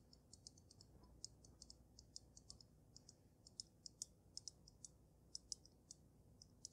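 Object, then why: Water-filled glass snow globe. Long metallic-polished nails tap the glass dome of a palm-sized, water-filled glass snow globe with glitter, set on a dark dragon-figure base. A quick, irregular series of quiet, sharp, bright clicks rises over a faint low hiss, each tap dying away almost instantly with no ringing.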